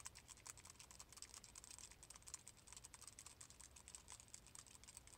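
A small, palm-sized silver metal Death Star ball, possibly a grinder, is held up and tapped quickly with fingertips and nails. The result is a steady stream of rapid, light, clicky taps with a bright, high metallic tick, each cut off almost instantly over a faint low hum.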